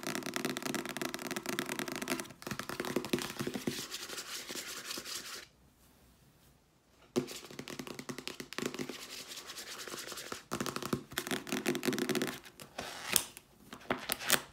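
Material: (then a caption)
Paper. Fingernails tap rapidly on the paper cover and spine of a solid paperback novel, then its pages are fanned, making dense, bright, dry clicks and scratchy rustles. The sound breaks for a short near-silent pause in the middle, then the quick tapping and rubbing resume until the end.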